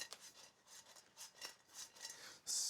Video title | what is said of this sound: Spencers Big 30 S01E02 720p WEB H264 BUSSYeztv re | Listen to how crispy they are